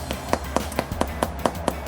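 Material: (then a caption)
Bread crust. A finger flicks a golden-brown potato scallion bread loaf, hard on the outside, just out of the oven after about half an hour at 400 degrees, with nine short, dull, hollow taps at a steady pace over a low background hum. The hollow sound means the loaf is fully baked and ready.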